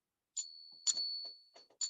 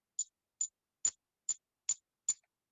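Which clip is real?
The first.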